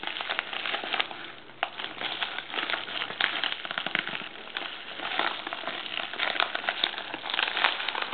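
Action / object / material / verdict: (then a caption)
scrape / glossy plastic poly mailer bag / plastic film / none. Fingertips scratch, press and rub the crinkly film of a large dark navy glossy plastic TOPBOX poly mailer. Dense, bright crackling and crinkling runs through the whole clip, with many short sharp snaps over a steady rustle and almost no low end.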